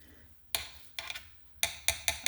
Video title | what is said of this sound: Action Force "SWARM TRACER" review | it feels and sounds like that thing would shatter if it hits the ground too hard